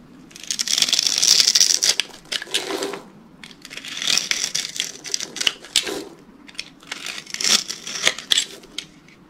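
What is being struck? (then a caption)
Bar of dry soap. A utility knife scrapes and cuts scored cubes off a hand-sized, solid rectangular pink bar of dry soap held in one hand. The result is a bright, dry, crumbly crackle of quick, uneven scrapes and snaps, coming in three longer waves with short pauses between.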